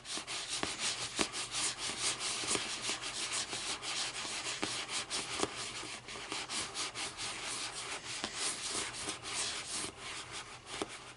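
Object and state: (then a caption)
Hardcover book cover scratched. Long nails scratch and rub across the front cover of a closed, thick hardcover paper book with a lime-green board cover. The result is a steady, bright, papery scraping that rises and falls in short strokes, with a few sharper clicks standing out along the way.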